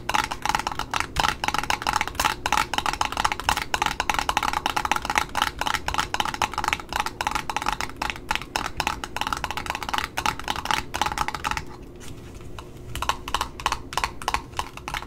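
A small red spool of satin ribbon with cardboard discs is held in the hand while long nails tap rapidly on its cardboard top, making dry, hollow clicks with a woody tone around 844 Hz and almost no ring. Near the end, the nails briefly scratch the barcode label on the side, producing a softer, hissy rasp, before the quick tapping resumes.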